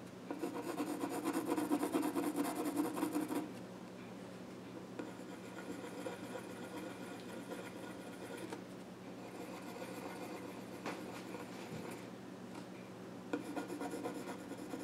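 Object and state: Wooden stool top scraped by pencil.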